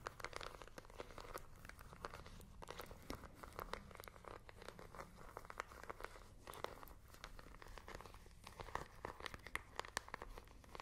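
A small, hollow handheld plastic IR remote control with colored rubber buttons is held in both hands and tapped and clicked with long nails. The result is a quiet, steady stream of rapid, sharp clicks and dry, crinkly taps that stop instantly, over a faint low hum.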